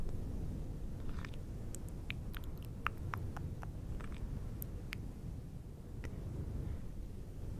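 Fingertips of both hands rub and scratch a fluffy synthetic faux fur windscreen on a silver microphone. A steady, muffled low rumble of rubbing carries throughout, dotted with short, sharp, bright crackles and ticks from the scratching.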